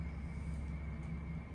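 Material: Nothing is struck.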